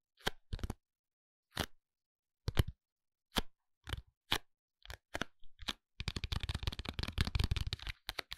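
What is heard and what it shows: A long, narrow paperboard eyebrow pencil package is tapped and scratched with the fingertips and nails, both lying flat and held upright. Dry, hollow, low-heavy taps come one at a time with short silences between, then give way to a quick, continuous run of tapping and scratching. Each tap dies away almost immediately.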